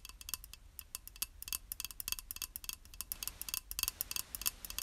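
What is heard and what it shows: Long acrylic nails tap rapidly and unevenly on a small, flat, square, beige glazed ceramic tile that is solid and held in one hand. Each tap is a sharp, bright click that dies away almost instantly. The clicks are quiet over a faint low background hum.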